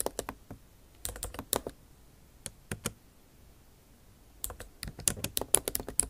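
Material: Plastic.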